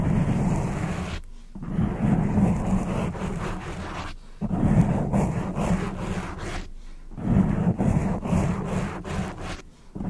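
Long acrylic nails scratch and rub the surface of a black foam windscreen on a microphone, producing a dense, low rumbling scrape. The scraping comes in a few long sustained strokes, each broken by brief near-silent gaps.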